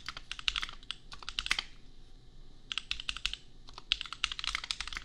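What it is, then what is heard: Plastic mechanical keyboard. Two hands type with their fingertips on a $250 custom compact mechanical keyboard with Gateron Milky Yellow switches and red and pink plastic keycaps. The keystrokes come as rapid bursts of short, bright, clacky taps with very little ring, and there is a brief lull a little before the middle of the clip.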